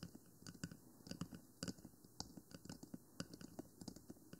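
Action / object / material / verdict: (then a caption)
tap / small plastic microphone housing / plastic / none. Long nails tap the top and side of a 3Dio Free Space binaural microphone, a small hollow black plastic box with silicone ears. The result is a quick run of dry, clicky taps with a low hollow body and bright ticks, each dying away almost at once.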